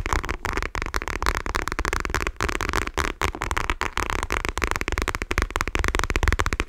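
Long nails tap rapidly and continuously on a dark patterned faux leather wallet held in both hands. The taps are dry, dull and close-up, with a heavy low thump, a papery mid-range crackle and almost no ring after each strike.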